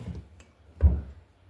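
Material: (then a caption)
Batter. A hand slaps and taps thick maida-and-sooji bonda batter, producing two dull, low, wet thuds, the second one louder, with almost no ring. The sound shows the batter is well beaten and mixed enough to make round, fluffy bondas.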